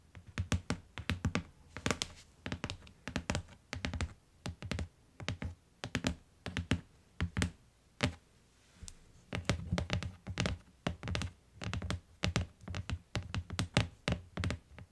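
Long nails and fingertips tap across the cardboard cover and along the lower edge of a closed, solid tan hardcover book lying on a fur rug. The result is dozens of quick, dry taps in irregular bursts, each a dull low thunk with a bright nail click on top that dies away almost instantly.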